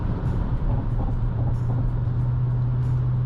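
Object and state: Nothing is struck.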